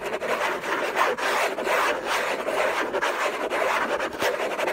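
Fingertips and nails scratch hard and fast near the lid edge of a hollow orange Hermès cardboard gift box. The result is a continuous dry, raspy scraping, full in the midrange and with no low end, in dense rough bursts broken by brief dips.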